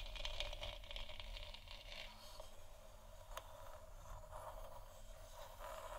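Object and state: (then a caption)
Plastic moon lamp. Long nails scratch and tap across a large, hollow, textured plastic moon lamp sphere. The sound is a steady, quiet, gritty scraping and rattling with a low rumble underneath, a midrange band around 600 Hz, and brief brighter crackles and light taps scattered throughout.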